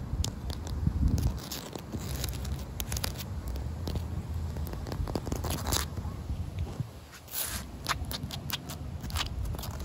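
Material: Concrete.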